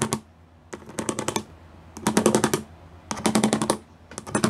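Fingertips and long nails tap and drum rapidly across a gray plastic sheet with raised square pyramid studs. The sound comes as short bursts of quick, bright, dry clicking, like fast typing, separated by brief quiet pauses. Each tap dies away almost instantly.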